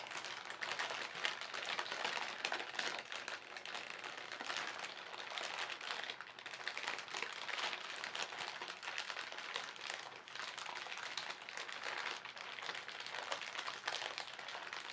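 The fingertips of both hands slowly crumple and crinkle a thin white printed plastic shopping bag with contents inside, working its soft film. The result is a steady, quiet stream of dense, bright crackling with no low end, rising and falling gently over the whole clip.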